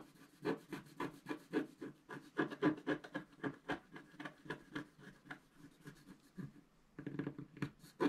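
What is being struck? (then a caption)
Wax-coated scratch-art card scratched with a wooden stylus. A pointed wooden stylus held in the fingers scratches across a flat black wax-coated scratch-art card, about A4, lying as a solid sheet on a table while the other hand holds it flat. About 28 short, dry scratching strokes follow each other at an uneven pace, quiet and mid-pitched with a faint bright edge. There is a brief lull just before the seventh second, then a denser burst of scratching.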